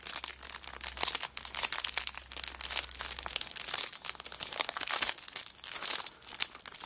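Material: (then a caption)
Cellophane. A cellophane-wrapped kraft paper notebook lies flat on a rug while both hands rub and press it and long nails scratch and crinkle the plastic wrapper. The result is a dense, continuous stream of bright, crisp crinkles and scratchy crackles with almost no low end, with a faint low hum under the first half.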